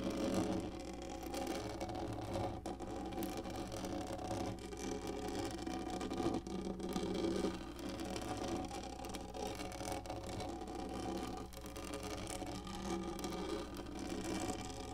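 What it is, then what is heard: Black plastic lap tray. Long nails on both hands scratch quickly and continuously across a large, hollow-molded black textured plastic lap tray. The result is a dense, raspy rustling concentrated in the low-mid range, with a steady low hum underneath and brief dips between strokes.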